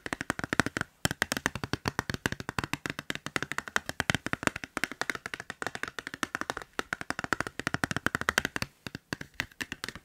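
Fingertips and nails tap and click quickly on the surface and edges of a transparent hard plastic case on a hand-sized smartphone, held at an angle beside the mic. The result is a rapid, uneven stream of sharp, dry clicks with almost no ring, broken by brief pauses near the start and end.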